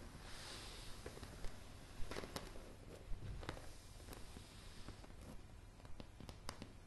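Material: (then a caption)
Wood. Long, dark, polished fingernails on both hands tap a solid wooden plank floor of light pine boards. About nine sharp, bright clicks land at irregular intervals over a quiet, low, rumbling background, each one dying away almost instantly.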